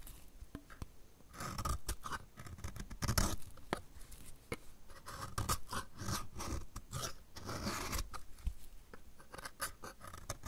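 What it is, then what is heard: Dry soap bar scraped with a blade. A solid, dry blue soap bar is scraped with a utility knife blade held in the other hand. The clip is a steady run of dry, crumbly scraping and crunching strokes with short sharp clicks. The strokes blur together, so they can't be counted apart.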